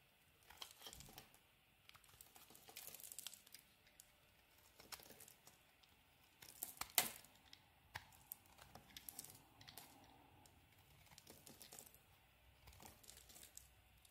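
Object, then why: Bar of soap scraped with a knife blade. A utility knife blade carves and scrapes thin curls off the surface of a solid, hand-sized, cream-colored olive soap bar. Quiet, bright, crinkly scraping rasps come in short bursts separated by near-silent pauses, with one sharper, louder scrape about halfway through.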